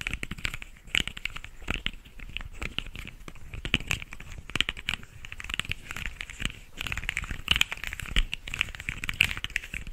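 A small, hollow, rainbow corrugated plastic pop tube toy is stretched out and squeezed back by fingertips, its ribs crackling. Dense, rapid clicks and crinkly crackles run throughout, bright and centered around 2.5 kHz, with a few louder snaps standing out.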